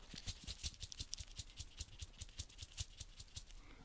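A dried poppy seed head found in the garden is shaken, giving a quick series of dry, maraca-like rattles with crisp high-frequency bursts. The rattle shows the pod is dry and full of loose seeds, which shaking it over a tray releases from the holes under the little roofs of the pod.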